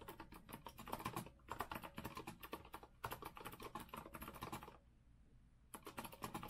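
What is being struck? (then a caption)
Mechanical keyboard, metal frame and plastic keycaps. Both hands type fast with their fingertips on a rose-gold retro Azio mechanical keyboard with a metal frame and round plastic keycaps. Rapid, clacky, bright keystrokes pour out in bursts, pause for about a second, then resume.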